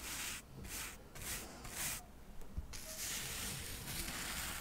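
A soft paintbrush is brushed over a small, solid stack of square cork coasters held above a microphone. It makes a quiet, airy scratchy hiss in bright bursts of strokes that run into a steadier rubbing toward the end.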